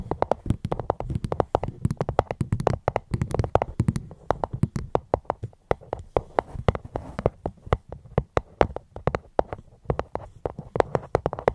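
A fruit box held close to a microphone is tapped gently and rapidly with a steady stream of short, dry taps. Each tap has a soft, low hollow thump with a mid-toned knock around 500 Hz and almost no ring, and the rhythm runs continuously from start to finish.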